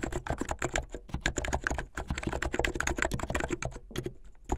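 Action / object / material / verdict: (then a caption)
tap / plastic mechanical keyboard / plastic / none. Fingertips with medium painted nails type fast on a plastic mechanical keyboard with white and blue plastic keycaps. The result is a dense, continuous run of short, crisp clacks with a solid low-end body and quick decay.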